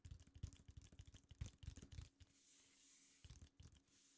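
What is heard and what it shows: Fingertips of both hands tap and lightly scratch across a large, flat, red printed paper or card tracklist insert from a vinyl record lying on a desk. The result is a quick run of soft, dull, low thumps with faint bright scratchy edges. A brief lull of quiet hiss follows before a few more taps.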